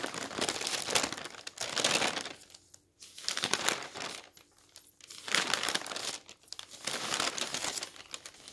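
Fingertips lift and turn the thin pages of a large open newsprint newspaper lying on a wooden table. Each turn makes a bright, papery burst of crinkling and rustling. The swells of sound are separated by brief quiet gaps.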